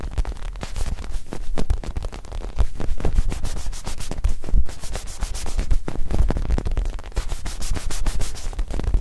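A small, palm-sized black-and-white mini soccer ball, likely soft foam or synthetic leather, is held in both hands and rubbed and scratched with the fingertips close to the microphones. This gives a steady run of dense, soft scratching and rubbing with a deep low thump underneath and brief bright streaks, rising and falling in level throughout.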